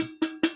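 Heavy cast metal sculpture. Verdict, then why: Hollow. A heavy, hollow 40–50 lb thrift-store sculpture that looks like a bowling ball trophy is knocked on. A knock starts the clip, and two more follow, each giving a bright, ringing, cowbell-like tone around 330 Hz that rings on briefly.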